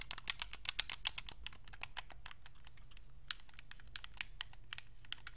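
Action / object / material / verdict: tap / plastic game controller / plastic / none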